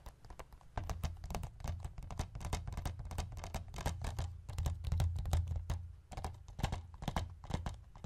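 Fingertips and nails tap the front and edge of a hollow white plastic Forrest Gump DVD case, first lying flat on a wooden chest and then held up on its edge. Quick, irregular taps and bright clicks ride over a low, hollow thump that runs steadily underneath. Each tap dies away almost at once.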